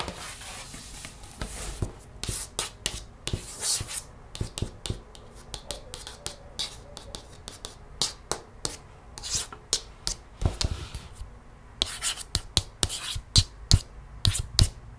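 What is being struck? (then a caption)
Hardcover paper picture book. Long red-painted fingernails trace across and lightly tap along the printed paper page of a large open hardcover picture book resting on a wooden table. Soft, scratchy rubbing runs under a steady stream of crisp, bright, short taps at an irregular pace, with no speech.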